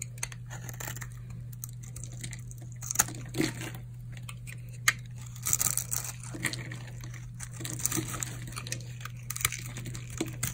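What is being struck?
Bar of soap.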